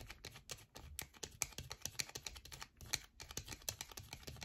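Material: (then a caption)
Soap. Long nails scratch and tap quickly on a solid yellow bar of soap, making a rapid run of short, dry clicks and scratches. The sound is bright and crisp with little low end, and each tick dies away almost at once.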